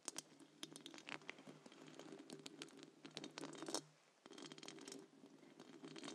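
Long acrylic nails on both hands scratch and tap the round wire-mesh metal grille of a large silver condenser microphone with a hollow head. The result is dense, bright, crackly scratching with quick clicky taps over a low steady hum, which briefly drops out near the four-second mark before the scratching resumes.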